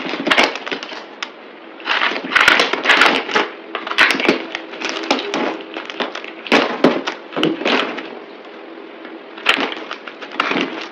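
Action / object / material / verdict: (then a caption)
scrape / bar of soap cut with a knife / soap / none. A solid green speckled bar of soap, held in the hand, is carved and scraped with a yellow-handled utility knife, played at double speed. Dense, crisp scraping and crackling bursts come in quick clusters with sharp, bright snaps as flakes break off. There is no low rumble beneath them.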